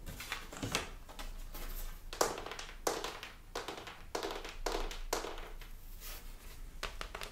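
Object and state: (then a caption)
Hardboard picture frame backing. A thin, flat, brown hardboard (fiberboard) backing panel from a large picture frame, a solid sheet, is held up in the hands and tapped on its surface with long pink-painted nails and fingertips. The result is a quiet run of short, dry taps with a hollow, slightly papery tone that dies away almost at once, some strikes louder and clickier than others.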